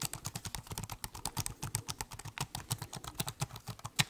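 Fingertips type quickly on the black keys of a silver metal and plastic laptop held open in the hands, producing about thirty short, dry clicks in a steady run. Each tap has a low thump under a bright, crisp tick and dies away almost instantly.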